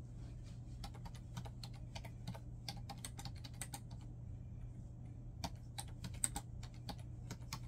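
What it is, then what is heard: Plastic laptop keyboard being typed on. Fingertips type continuously on a black plastic laptop keyboard resting on a bed, with papers lying untouched nearby. About thirty quick, dry, bright key clicks sound over a steady low hum, with a short pause in the middle before the typing resumes.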